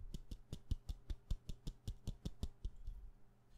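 Long nails tap quickly on a solid white wax pillar candle held in the hand, giving fifteen short, dull taps with bright clicky edges. The taps come at a brisk but slightly uneven pace and die away almost instantly.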